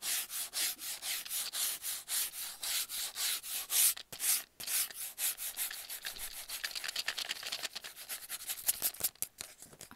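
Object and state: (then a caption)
Cardboard mailing tube scratched. Fingernails rub and scratch along the surface of a hollow kraft cardboard mailing tube about 25 cm long. Bright, hissy scraping strokes come in a steady rhythm at first, then turn quicker and denser with a few sharp brief pauses. The sound is dry and papery, with almost no low end.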